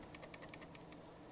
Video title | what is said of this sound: Re Review Logitech G303 G402 and G502 Spectrum | rattles loudly when tapping it and this sound while shaking it - even with the scroll well held in